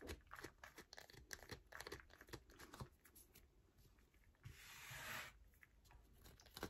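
Long nails scratch quickly across the grooved face of a solid yellow bar of soap held in the hand, making a run of short, dry scratching and tapping sounds. Around the fifth second a sustained, brighter rasping scrape swells up before it breaks back into quick scratches.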